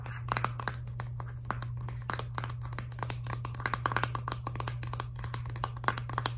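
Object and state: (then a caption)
Filled plastic toothpaste tube. Long dark nails tap quickly on a filled, laminated plastic toothpaste tube, making a rapid run of short, dry clicking taps with a slight crinkly texture. A steady low hum sits underneath the tapping throughout.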